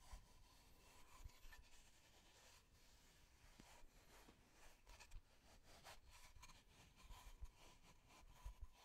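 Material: Wood.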